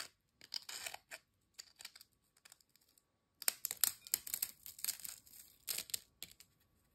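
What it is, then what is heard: Ridged potato chips. Thin, dry, crisp ridged potato chips are broken apart by fingertips over a glass bowl holding chip fragments. Quiet, bright, dry snaps and crackles come in irregular bursts, with a pause near three seconds, then a denser run of sharper cracks.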